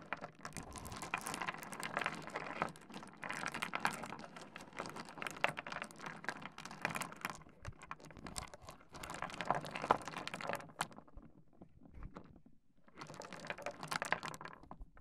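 A pile of small, solid stone pebbles on a wooden desk is grabbed, rubbed and raked together with both hands. This makes a dense, steady stream of crisp clicks and rattling clatter with a bright, gritty edge. The clatter thins to sparse taps for about two seconds near the end, then resumes.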